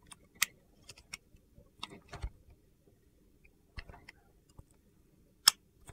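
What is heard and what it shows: A solid purple-and-white marbled soap bar is held in one hand while a box-cutter blade scrapes and shaves thin slices off it. Short, crisp, high-pitched scraping clicks come in scattered bursts over a quiet background, each dying away almost instantly.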